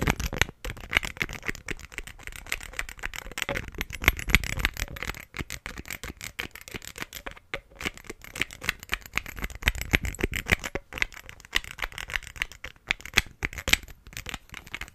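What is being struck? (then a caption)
Glass perfume bottle with plastic cap. A square green glass perfume bottle, partly filled with green liquid and topped with a black cap, is held in one hand while the fingertips and nails of the other tap quickly on the cap and the glass. The result is a fast, irregular stream of dry, bright clicks and taps that die away almost instantly, with brief pauses between the flurries.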